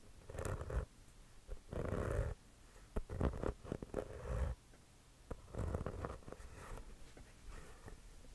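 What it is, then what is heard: Composite leather basketball, scratched and tapped. Fingertips and short nails scratch and tap an inflated, hollow Wilson composite leather basketball held close to the microphone. Irregular bursts of low, rumbling scratching alternate with short, dull taps and brief quiet gaps.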